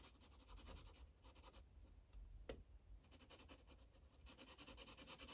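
A red Sharpie felt-tip marker scrubs in short strokes over a thin white coloring-book page lying flat. Quick, dry, scratchy rubbing bursts with a bright hiss come in rapid runs, thin out in the middle with a single sharp tick, then return in a steady rhythm.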